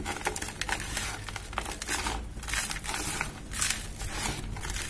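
Both hands scoop handfuls of gritty dry cement powder and lumps and squeeze and rub them inside a bucket. A continuous dry, crunchy crumbling with bright grainy crackles and low rustling rises and falls in dense bursts throughout.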